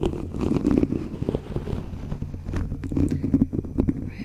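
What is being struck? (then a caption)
Metal mesh microphone grille. A thin white stick is scraped and tapped across the rounded, hollow metal mesh grille of a black USB condenser microphone held upright in one hand. Dense, close-up scratching and rustling fills the clip, heavy in the low end, with quick dry taps and crackles that die away almost instantly.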